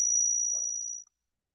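An odd-year silver one peso coin is pinged and rings well, giving a clear, high ring with a fainter tone near 2.2 kHz. The ring fades steadily and dies out after about a second.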